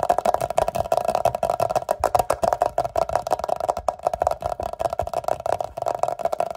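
Fingertips and short nails rapidly tap and scratch on an empty clear glass jar. The result is a fast, dense run of short, dry clicks with a steady glassy ring around 700 Hz. There is little low end and the sound fades quickly after each tap.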